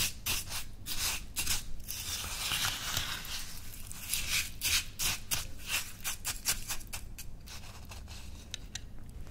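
A metal teaspoon held in a hand with long red nails stirs and scrapes through white coarse salt scrub in a small, open, stemmed clear glass dessert cup that is mostly full and sitting on a white towel. The salt gives a bright, gritty crunch in a string of irregular rasping bursts, mixed with the spoon grazing the glass; the nails do not strike anything.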